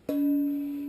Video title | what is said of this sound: Two Stroke Pipe Building - Dyno Ep. 5 | if the pipe is made right, it'll ring good. You can just like a bell.